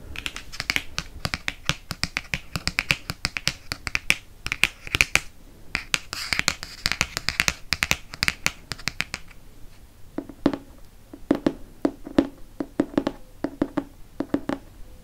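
Fingernails tap rapidly on the glossy cardboard cover of a dark hardcover paper book. The taps are sharp, bright clicks with almost no ring. For the first nine seconds they come in a dense, crisp flurry, then turn sparser with a slightly fuller, hollower knock.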